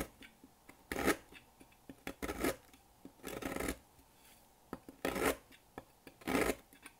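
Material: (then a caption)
Soap. A thin metal blade cuts a small remaining piece of solid pink dry soap on a table over a pile of shavings. Five dry, rasping scraping strokes sound out, each a short broadband burst, with light crumbly ticks and clicks from falling flakes between them.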